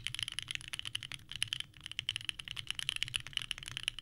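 Both hands type continuously with the fingertips on a small 65% mechanical keyboard with a purple case and white ABS keycaps resting on a desk mat. It makes a rapid stream of about twenty sharp, clacky key presses that are bright and centered near 3 kHz, each dying away almost instantly, over a faint low hum.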